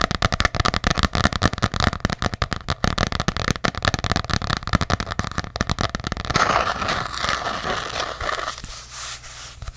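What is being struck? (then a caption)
Embossed hardcover journal. A small ornate hardcover journal with an embossed cover is tapped rapidly with long nails, giving a dense run of short, dry clicks for about six seconds. The tapping then gives way to a steadier scratching and rubbing across the cover, bright and hissy, which fades softer toward the end.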